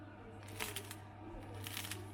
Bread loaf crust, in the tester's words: croustille et tout, vous entendez? Écoutez un petit peu mon pain.